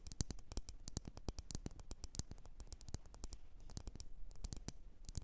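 Long nails tap and scratch on a lit, wax-filled red glass candle jar. Rapid, irregular streams of sharp, bright clicks with very short ring run over a quiet, low-heavy background, with faint scratchy texture between the taps.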